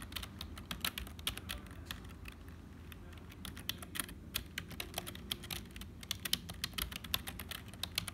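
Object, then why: Plastic computer keyboard. Fingertips of both hands type on a black HP full-size plastic keyboard that sounds hollow. Its keys give a steady run of quick, bright, dry clicks with no ringing, over a soft low background.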